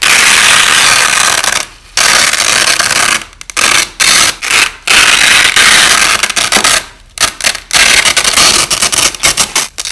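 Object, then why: Nylon hook-and-loop tape strips. Hands peel one thin, flexible white nylon hook-and-loop (Velcro) strip off another overlapping strip, with the audio slowed down. A loud, bright, crackling rip runs through the clip, broken by several brief pauses where the tearing stops before starting again.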